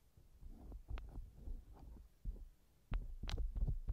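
A thin wooden earpick scratches inside the left ear canal of a small, hollow silicone ear model mounted on a binaural microphone. Deep, muffled rubbing and thumping scrapes come in irregular bursts, with a few sharper, bright clicks standing out near the end.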